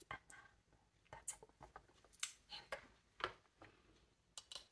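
Long nails and fingertips tap on a hollow, polished reddish wooden bassoon joint fitted with metal rings and keys. About eleven quiet, sharp taps and clicks land at irregular intervals, each bright and dry with almost no ring, while metallic key clicks add a high edge between softer knocks on the wood.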